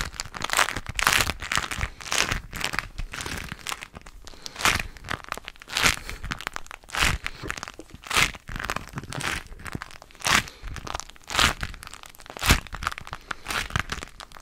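A thin, hollow, crinkly yellow plastic cellophane wrapper is held in both hands and crumpled and twisted with the fingers. It makes bright, irregular crinkling and crackling bursts that rise and fall throughout, with sharp crunchy peaks between softer rustling.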